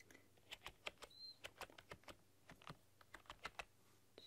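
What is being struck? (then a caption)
Plastic computer keyboard keys. Long dark-polished nails and fingertips type on a full-size plastic RGB backlit computer keyboard with black keycaps and a rainbow backlight, pressing and clicking the keys. About nineteen quick, bright clicks and taps land in an uneven rhythm over a quiet low hum, each dying away almost instantly. A faint high tone briefly sounds twice between the taps.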